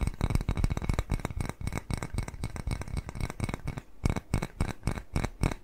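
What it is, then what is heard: Ceramic cat-shaped bowl. Fingernails scratch and tap quickly on a small, white glazed ceramic bowl shaped like a cat face, held upright, hollow and empty. The rapid, uneven taps and scrapes sound dry and short, with a soft low thump under bright, scratchy edges. After a brief pause near the end, the tapping resumes in clearer bursts.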